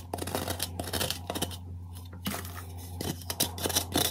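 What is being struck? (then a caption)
Block of magnesium carbonate gym chalk scraped with a metal spoon. A metal spoon scrapes and carves chalk from the hollow inside a square white gym chalk block (magnesium carbonate) held in one hand. The block is tilted at the end. Dry, bright scratching strokes come in quick bursts over a steady low hum.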